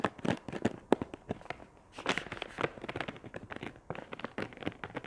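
A medium-sized, filled wet wipes pack of soft, flexible plastic with a chamomile print is held in one hand and scratched and tapped with long acrylic nails. Quick, dense crinkling clicks and scrapes crackle across the clip, with bright, sharp taps standing out among the rustling.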